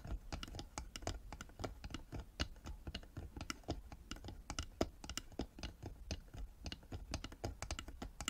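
Long nails tap rapidly on the sides and lid of a small hollow carved wooden box with a metal emblem on the lid and a metal clasp, held on a table. The taps come as a quiet, dense run of short, dry clicks that die away almost instantly, with a hollow low body and bright clicky tops.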